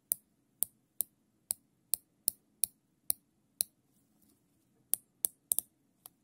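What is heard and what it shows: Gloved fingertips pull the tail of a thin black nylon zip tie, looped into a ring, through its ratchet head. Fourteen sharp, bright plastic clicks sound at an irregular pace, with a pause in the middle and a quick pair near the end. Each click dies out almost instantly over a faint low hum.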